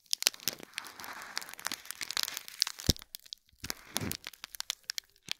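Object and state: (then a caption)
Foil-wrapped gift box in plastic film. Fingertips and nails scratch and press the crinkly plastic film around a small gold foil-wrapped cube gift box, likely hollow. Bright, dry crackles and rustling crinkles come in quick bursts, with a short quiet gap past the middle and a softer, duller press before the crackling resumes.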